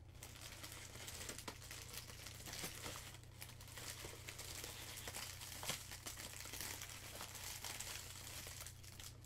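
A loose, crumpled sheet of thin, shiny blue plastic cellophane film is held in both hands and crumpled and crinkled with the fingers. Dense, bright crackling and crinkling continues steadily throughout, with a steady low hum underneath.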